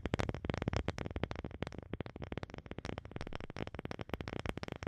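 A wooden object is tapped rapidly and continuously, giving a quiet run of short, dry knocks with a low, woody body. Each tap dies away almost at once, with no talking over the steady tapping.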